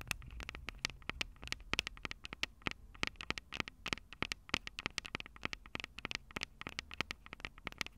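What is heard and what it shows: Long purple nails on both hands tap rapidly on the heads of the two hollow metal microphone capsules of a Tascam DR-05 recorder. The result is a fast, irregular run of sharp, bright clicks that stop almost instantly, over a faint low rumble.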